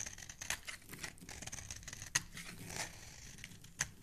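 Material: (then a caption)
Soap. A metal utility-knife blade is scraped repeatedly across the face of a solid oval yellow bar of soap held in the hand, with the shavings falling onto a wooden surface below. The result is a steady, dry, bright scraping and crinkling hiss, broken by a few sharper, louder scrapes.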